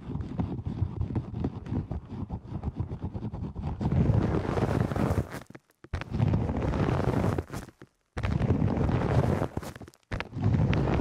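Black padded fabric and faux-fur earmuffs fitted over the ears of a 3Dio microphone have their headband scratched and rubbed fast with long nails and fingertips. The result is a dense, muffled, low-heavy rustling and scraping that comes in rapid bursts. It swells louder after the first few seconds and breaks off in several brief silences.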